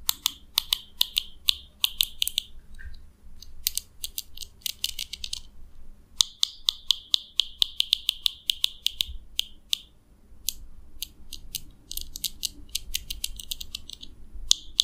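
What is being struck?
Plastic comb.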